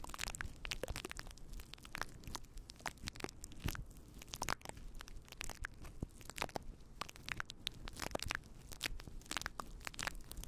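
Fingertips of both hands rub and scratch a fluffy faux fur windscreen on a microphone. The result is a continuous stream of dense crunchy, crackling scratches with a rumbling low end and bright, sharp bursts, each dying away almost instantly.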